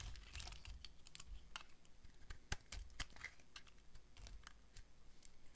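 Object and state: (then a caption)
Dry bar of soap being carved. A utility knife blade carves curls off a solid pink rectangular bar of dry soap held in the hand. A quick series of dry, crisp scraping clicks with bright edges sits over a soft low rumble, and each cut stops short with almost no ring.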